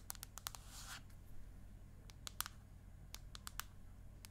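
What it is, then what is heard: Aluminium tablet back tapped with nails. Long acrylic nails tap and scratch the flat space-grey aluminium back of an iPad mini, a thin hard slab held upright. About 13 short, bright clicks stop almost instantly, with a brief hissy scratch near the start, all over a quiet, steady low hum.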